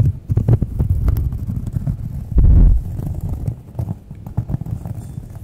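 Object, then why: Round cork coaster. Long nails tap and scratch the surface of a thin, solid, round cork coaster held in both hands. Quick, dull, low thumps follow one another closely, with almost no brightness. Midway, a louder, sustained scratching burst rises before the tapping softens again.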